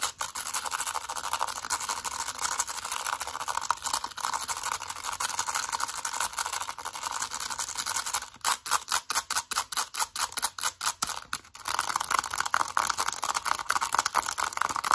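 Long acrylic nails tap and scratch quickly over the plastic keys and case on the keypad side of a mint-green plastic calculator. A dense, bright, continuous clatter of clicks and scrapes briefly breaks into a string of separate, sharper rapid taps in the middle, then returns to steady scratching.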